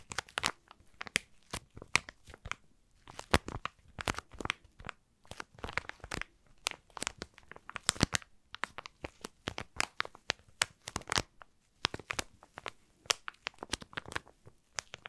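A thin, soft plastic packaging bag holding cotton pads is held close to the microphone and crinkled and squeezed with the fingertips. Dense, bright crinkles and crackles come in quick irregular bursts with short quiet gaps. The clicks stop almost instantly, with no ring.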